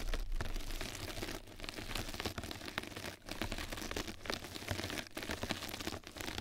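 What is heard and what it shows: A flat yellow knitted-mesh scrub sponge pad lies over the microphone while two mascara brushes scratch and brush across its surface. The result is a dense, continuous crinkly scratching with a strong low rumble and brief quieter gaps.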